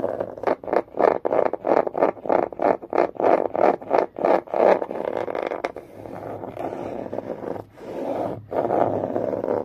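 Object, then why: Long cardboard box. Long nails scratch and tap along the top surface of a long green cardboard box. A quick, rhythmic run of dry scraping strokes gives way to a steadier continuous scratching, with a brief pause before a final stretch. The tone is papery and mid-range, with short, dry strokes that leave no ring.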